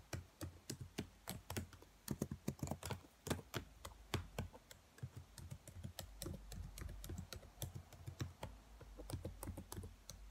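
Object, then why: Plastic laptop keyboard keys. Long nails tap and type across the black plastic keys of a dark laptop keyboard. The result is a steady, irregular stream of quiet, dry clicks with soft low thumps, each tap stopping at once with no ring.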